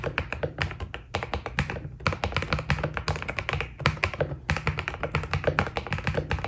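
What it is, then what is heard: Mechanical keyboard with PBT plastic keycaps. A white Keydous NJ80 mechanical keyboard with PBT plastic keycaps is typed on steadily with the fingertips of both hands. It produces a fast stream of short, dry clacks with a deep, rounded low thock beneath brighter tapping. A few brief pauses break up the typing.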